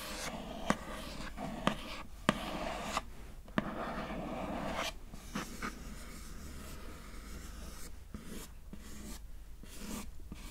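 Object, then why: Glossy printed cardboard card. Long nails scratch and rub across the glossy surface of a thin, flat, square printed cardboard card lid showing a face. A few sharp clicks stand out early over a steady, soft scratching rustle that continues to the end.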